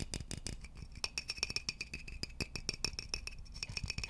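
A hollow, polished wooden vase is tapped with fingertips close to the microphone, then held up and tapped around its neck. The result is a quick, steady stream of dry, clicky taps, each with a bright, high ring that dies away almost instantly over a soft low thump.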